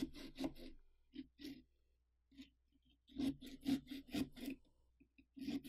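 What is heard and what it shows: A small carving saw cuts through the rind of a large hollow pumpkin with a sawing, scraping motion along the mouth outline, a hand spread on the pumpkin to hold it. Bursts of rasping, rubbing strokes come in two clusters separated by pauses, with a low, hollow body tone under the bright scratchy edge.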